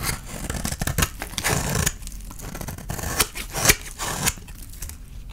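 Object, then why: Soap bar shaved with a knife blade. A utility knife blade scrapes and shaves curls off a palm-sized, solid bar of dry soap with a blue painted outer layer and a yellow core, held in one hand. Repeated dry, crackly scraping strokes come in quick bursts, with bright, crisp shaving edges and a low rustling body. Each stroke ends abruptly with almost no ring.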